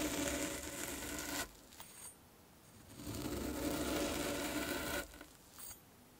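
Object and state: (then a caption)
Kinetic sand ball being poked. A metal fork is pressed and poked repeatedly into the top of a solid orange kinetic sand sphere resting on a dark cloth. It makes a dense, gritty crunching and scraping sound in two longer stretches, separated by quieter pauses. The fork leaves rows of small holes and loose crumbs in the sand.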